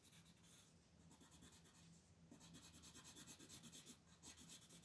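A wooden colored pencil, held by fingers with long pink nails, colors a thin paper coloring page in quick, repeated short strokes. The result is a quiet, bright, scratchy rubbing that swells into a pulsing rhythm of strokes in the second half, over a faint, steady low hum.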